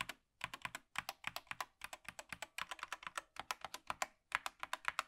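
A gloved hand types with its fingertips on the keys and arrow cluster of a 2023 Apex Pro TKL wired mechanical gaming keyboard with plastic keycaps, lying flat. Bursts of quick, bright key-press clicks and taps come with brief pauses between them. Each tap is short and dies away almost instantly.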